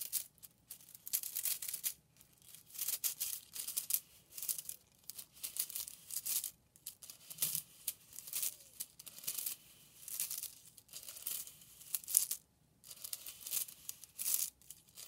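Two handfuls of thin, hollow pink and purple plastic drinking straws are rubbed and crunched against each other by hand, making dense, crinkly clicking. The sound comes in repeated short bursts of bright, high crackle with brief quiet gaps between them, and almost nothing in the low range.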